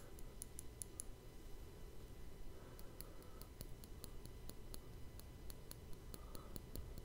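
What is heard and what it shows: A fingertip and nail tap and scratch the top of the hollow, rounded woven steel mesh grille of a Blue Yeti microphone. Quiet, sharp, bright ticks come in an uneven rhythm over a heavy low rumble, with brief scratchy passes between them.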